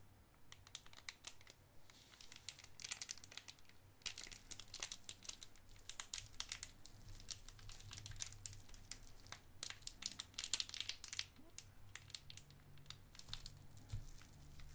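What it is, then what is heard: Cellophane candy wrapper. A small clear cellophane wrapper holding a white candy is crinkled and twisted between the fingers. Dense bursts of sharp, bright crackles and snaps come in waves over a faint, steady low hum, each crackle dying away almost instantly.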